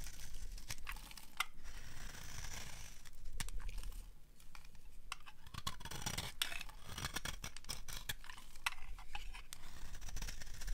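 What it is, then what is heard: Dry soap bar being carved. A palm-sized solid bar of dry cream-white soap, held in the hand, is scraped and carved with a small serrated metal blade while shavings pile up below. Dry, crisp scratching and crackly clicks run steadily for about eleven seconds over a low, dull rumble. Sharp bright snaps stand out as the blade bites and flakes break away.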